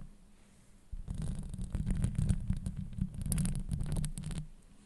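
Long nails scratch across a hollow metal mesh microphone grille. After a near-silent start, a dense run of rapid, uneven scratches begins just before the first second, heard close-up as a deep rumbling thump with a crackly, bright edge. The scratching continues for about three and a half seconds before dropping back to quiet.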